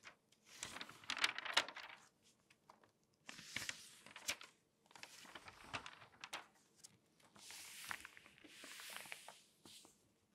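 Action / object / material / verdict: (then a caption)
scrape / glossy paper magazine pages / paper / none. Long dark-painted nails scratch and rub across the printed pages of an open glossy paper magazine lying flat, thin and light, between page turns. Quiet, bright, crinkly rustles and scratches come in short bursts separated by near-silent pauses, with a few sharper crisp ticks.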